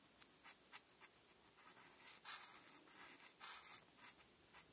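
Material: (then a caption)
Paper. A felt-tip alcohol marker, held by fingertips with long red-painted nails, fills in black areas on a printed paper coloring page lying on a dark backing board. Quick, quiet, bright scratchy strokes come first, then longer rubbing passes as the marker drags across the paper.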